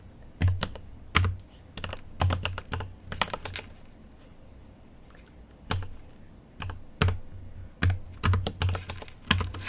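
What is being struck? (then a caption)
Mechanical keyboard with plastic keycaps and metal case. Fingertips type on a mechanical keyboard with an aluminium case and plastic keycaps. Quick bursts of sharp, bright key clicks ride on a deep, low thock, with a lull of a couple of seconds midway before the typing picks up again.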